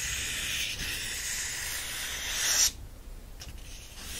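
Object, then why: Paperback book, paper pages. Fingertips rub the paper pages of an open yellow paperback book, then lift and flip them. A steady, bright, hissing scrape runs for about two and a half seconds, swelling slightly before cutting off abruptly. Softer, fainter paper rustles follow, with a small rise at the very end.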